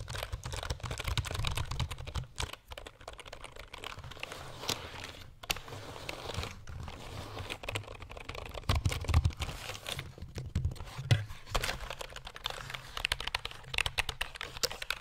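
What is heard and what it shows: A black plastic computer keyboard is held close to the mic, first upright and then horizontally, while fingertips tap its keys. The result is a steady stream of quick, dry clicks with a low, thumpy body and bright, crisp edges, rising into a few louder taps partway through.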